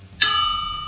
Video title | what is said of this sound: Crankshaft Failure, It's Not All That It's Cracked Up To Be 😬 | this has a nice nice ring to it up here where the crack is